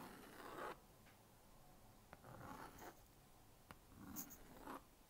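A plastic magnetic stylus scratches circles and lines across the honeycomb screen of a small blue-and-pink plastic magnetic drawing board. Several soft, dry scratching strokes come in short bursts, with a couple of sharp little ticks between them. The strokes are quiet and close, with a mid-range rasp and faint bright edges.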